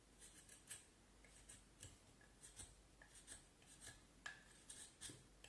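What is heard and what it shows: A small knife scrapes and carves the top end of a solid vine wood handle held upright. Quiet, short, dry scraping strokes come in irregular bursts, each with a bright, hissy edge and a faint tonal squeak near 1.7 kHz.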